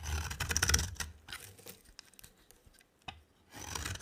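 A box cutter blade scrapes a dry, rectangular solid soap bar with a green rim, producing dense, bright, rasping shaves with a low underlying rumble. The scraping fades into scattered small scratches and clicks, with one sharp tick near the three-second mark, then resumes steadily at the end.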